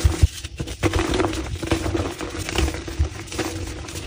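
Gloved hands break and crush a solid, palm-sized, crumbly block of black-dyed gym chalk (calcium carbonate) into smaller chunks and powder. Two sharp, low cracks open the clip, followed by a steady run of dull, bassy crunching and gritty crumbling with little high end. The sounds stop dead with no ring.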